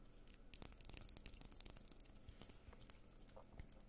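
Fingernails tap the sides of a small clear glass candle jar filled with white wax, held in both hands. The taps are a quiet, rapid patter of short, sharp clicks with a bright glassy ping and almost no ring.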